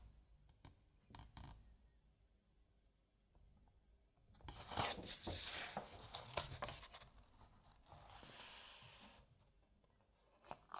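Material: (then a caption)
Paper. Fingertips rub the corner of a paper page in a hardcover novel held open, then turn the page. A few soft low taps give way to a bright, papery rustle and swish as the page sweeps over, followed by a second, softer swish and a small tap at the end.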